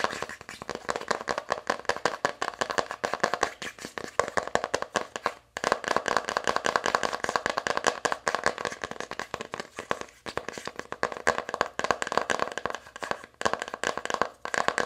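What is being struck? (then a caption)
Cardboard eyeshadow palette lid. Long acrylic nails of both hands tap and scratch the lid of an open navy cardboard eyeshadow palette. The result is a fast, continuous stream of dry, crisp clicks and scrapes centered in the midrange around 1 kHz, with almost no low end and a brief pause near the 5.5-second mark.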